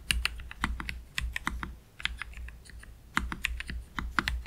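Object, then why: Low-profile mechanical keyboard, plastic keycaps. Slow typing with both hands' fingertips on a black Keychron K3 Pro low-profile mechanical keyboard with Gateron Red low-profile switches and plastic keycaps, resting on a desk mat. The result is a series of short, dry clacks with bright tops and a soft low thump, coming in uneven bursts with brief pauses between them.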